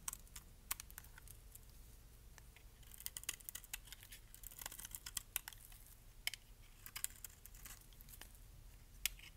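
A metal blade cuts thick flakes off the surface of a solid green bar of dry soap. Quiet, crisp, bright snaps and crackles come in an irregular run over a low, steady rumble, each one dying away almost instantly.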